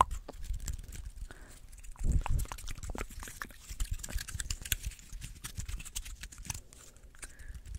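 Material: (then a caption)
Plant scales. A small, dry, open pine cone is held close in front of the mic while fingernails scratch and pluck its dry scales. The result is a steady stream of brittle clicks, snaps and crackles over a soft low rumble of handling, with a louder scraping burst about two seconds in. Each snap is short and dry, with almost no ring.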